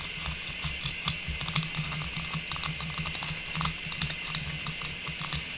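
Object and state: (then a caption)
Plastic star tree topper, tapped and scratched. A small hollow, faceted silver metallized plastic star tree topper with a tubular stem is held while long pink nails tap and scratch across it. The result is a quick run of light, dry clicks and scrapes, mostly bright and high with brief ring. A low steady hum sits beneath them.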